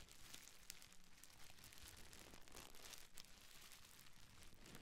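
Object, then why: Plastic bubble wrap. A small folded bundle of clear, air-filled plastic bubble wrap is held in both hands and crinkled, scratched and pressed with long nails and fingertips. The result is a quiet, continuous stream of dense, bright crackling and crinkling with short scratchy bursts over a low rumble. The sound is unusual.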